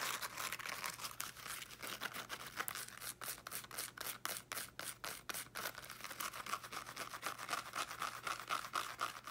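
Long nails scratch quickly across the teal woven fabric cover of a small solid-bodied speaker, some strokes in close-up. The result is a quiet, rapid run of dry, bright scratching strokes, about four per second and somewhat uneven, with almost no low end.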